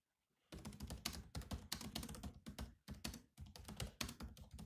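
A grey laptop keyboard with black plastic chiclet keys in a metal-look shell is typed on fast by the bare fingertips of both hands. After half a second of silence comes a dense run of short, clicky taps with a low thud under each and a bright top, broken by a few brief pauses.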